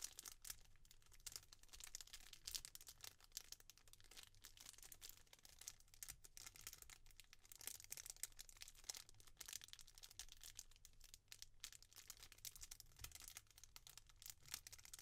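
A small clear plastic jewellery bag with a printed card inside is squeezed and crinkled between fingertips and long nails. The sound is a quiet, continuous stream of dense, bright crackles and crinkles with no pauses, over a faint low hum.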